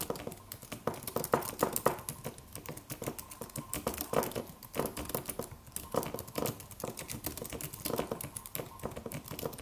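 Fingertips of both hands type on a slim silver aluminum computer keyboard with white plastic keys and a solid low-profile body. A quiet, steady stream of short, crisp key taps with a mid-range clack, each tap dying away almost instantly, comes in uneven bursts with brief pauses.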